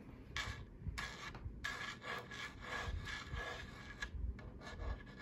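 Long acrylic nails and fingertips tap and scratch across the spiral grille, round centre badge and hollow housing of a black plastic Vornado desk fan. Repeated bursts of dry, raspy scratching with a faint whistling tone are broken by brief pauses and a few soft, hollow taps underneath.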